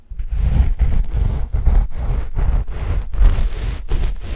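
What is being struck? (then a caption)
Knit fabric sheet over microphones. A flat, dark knit fabric sheet stretched over microphones is scratched with the long fingernails of both index fingers. The result is a continuous, deep, rumbling scratch with repeated strokes broken by brief gaps. Nearly all of the energy sits in the low bass.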